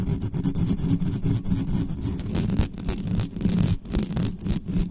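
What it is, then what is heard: Metal microphone grille being scratched. Long nails on both hands scratch fast across the mesh grille of a large, dark, hollow metal USB condenser microphone on a desktop stand. The result is a dense, continuous rasping roar that is heavy and boomy in the low end, with almost no brightness. Brief dips break up the scratching.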